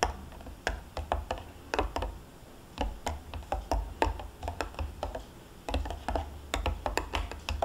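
Long painted nails tap and scratch the printed foil lid and rim of a sealed, full plastic Greek yogurt cup lying on its side on a cloth, lid facing up. Quick, sharp clicky taps with bright edges die away almost at once, separated by soft scratching. A low rumble runs underneath for most of the clip.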